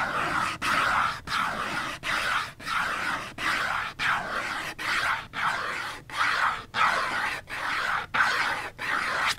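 A small Dove cardboard soap box holding a bar is held in hand and tapped with long fingernails. It makes a steady run of dry, papery bursts, each a short rustling rasp centred in the mids with a bright edge and almost no low end. Brief silences separate the bursts at an uneven, unhurried pace.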